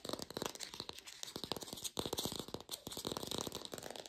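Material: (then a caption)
Plastic. Long pink nails fast-tap an artificial green apple with a stem, probably plastic. The result is a quiet, rapid run of short, dry, bright clicks with no ring after each tap.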